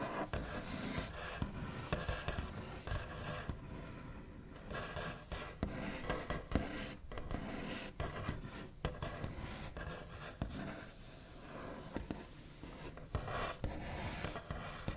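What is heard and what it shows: The backs of fingernails tap and trace scratchily across a large, flat, solid wooden tabletop with a smooth white finish. The result is a steady run of soft, dull taps mixed with dry scraping and rubbing, weighted toward low, woody tones. Each tap dies away quickly with little ring.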